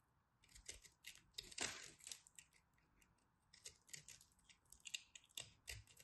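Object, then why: Pressed soap chunk under a small knife. A small knife repeatedly cuts and scrapes a blue and purple pressed soap chunk held in the hands. The result is a quiet series of crisp, bright, crackling scrapes and short crunchy bursts, each fading almost instantly, with a louder grinding scrape near the middle.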